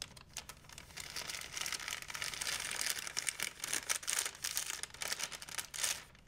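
A large, empty white plastic shopping bag is crinkled and flapped by hand. It makes a dense, continuous bright crackle with rapid sharp rustles for about six seconds and almost no low end, fading at the close.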